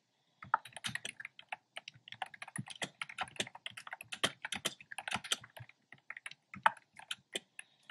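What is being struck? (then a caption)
Plastic keyboard with round plastic keycaps. Fingertips with short nails type on a black plastic keyboard with hollow, round retro-style plastic keycaps in cream, pink and red. The result is a steady, uneven stream of quick, bright, hollow clacks with very short ring and almost no low end.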